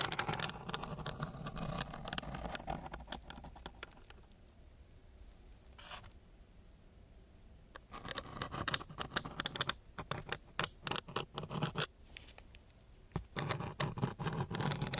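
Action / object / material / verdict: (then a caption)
scrape / sandpaper sheet scratched with a wooden stick / sandpaper / none. A thin wooden stick scratches and scrapes across a flat sheet of coarse, gritty brown sandpaper lying under a binaural mask microphone. Bursts of rough, gritty scraping come and go in irregular strokes, with a quieter stretch in the middle before the scratching resumes more sharply.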